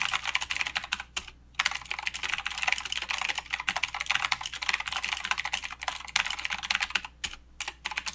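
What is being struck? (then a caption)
Mechanical keyboard with plastic keycaps. Both hands type with their fingertips on a mechanical keyboard with plastic keycaps and clicky blue switches. The result is a fast, steady stream of sharp, bright clicks with almost no ring, broken by a few short pauses.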